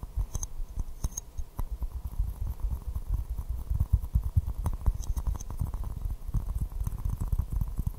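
A small white floral porcelain teacup, hollow and empty, is held upside down and tapped with fingertips and nails. The taps come as a steady patter of soft, dull, low thuds with very short ring, with occasional faint bright clicks from the nails.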